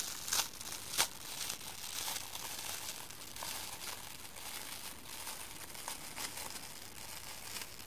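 A hand-sized rectangular kitchen sponge, soft yellow polyurethane foam bonded to a green abrasive scour layer, is gripped by fingers with long painted nails that slowly peel and rip the scour layer away from the foam. A steady, bright crinkling and tearing texture runs throughout, with two louder crackling snaps near the start and many smaller irregular tearing bursts.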